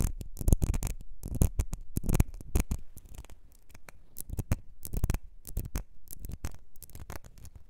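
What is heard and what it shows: Long nails tap the base of a small, ribbed, clear glass perfume bottle that is partly filled, then scratch along its ribbed sides. The result is a rapid run of short, dry clicks and raspy scratches with almost no ring and a dull low body. The sounds are loudest and densest in the first few seconds, then settle into softer, sparser scraping.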